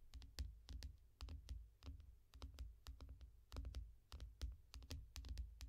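Both hands tap and scratch with long nails on the glass screen of a small tablet lying flat in a yellow foam rubber case. Quick, uneven bursts of taps come through as dull low thuds, each topped with a short bright click. The thuds die away almost at once, and soft scratching fills the gaps between them.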